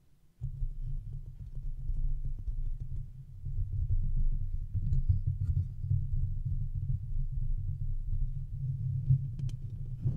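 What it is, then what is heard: Metal mesh microphone grille being scratched. Fingertips and nails scratch and rub the round, hollow metal mesh grille on top of a silver microphone. After a brief near-silence, a continuous, deep, muffled rumbling and scraping begins, with nearly all of its energy below 200 Hz. Occasional faint, bright ticks rise above it, especially near the end.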